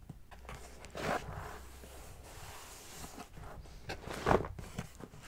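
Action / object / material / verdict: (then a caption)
tap / corrugated cardboard box / cardboard / none. A closed brown corrugated cardboard shipping box resting on a carpet is tapped with a fingertip and long nails, then scratched along its top and side. Soft, hollow, mid-pitched taps and dry scraping rustles are heard, with two louder knocks standing out. Each tap dies away almost at once.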